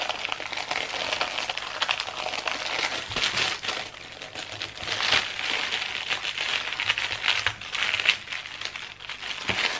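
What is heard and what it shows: Hands lift a thin clear plastic packaging bag wrapped around a patterned fabric pencil case, press it flat, and crinkle the plastic with their fingertips. The result is a steady stream of bright, crackly crinkling with dense, short snaps and some louder bursts. There is almost no low end.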